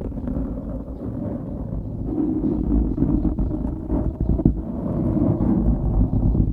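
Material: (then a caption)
Foam. Fingertips scratch the sides of a dark grey foam windscreen on a microphone, making a dense, low, rumbling rustle with steady, uneven scraping pulses. The sound stays close and muffled, with nearly no high content, and swells slightly in the second half.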